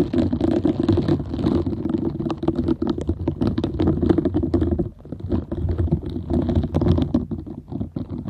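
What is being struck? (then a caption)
Silicone scrubber pad with soft nubs. Long nails scratch over the dense soft nubs of a half-round green silicone scrubber pad, making a continuous, rapid rustling and crackling texture full of tiny clicks. The sound is heavy in the low-mid range with a faint bright edge, and it briefly drops away around the five-second mark before resuming.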